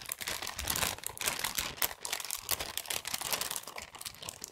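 A small present wrapped in brown patterned kraft gift paper, contents hidden, is held in both hands close to the mic and crinkled and rubbed with the fingertips. Dense, bright paper crinkling and crackling rises and falls in short, sharp bursts, with little low end.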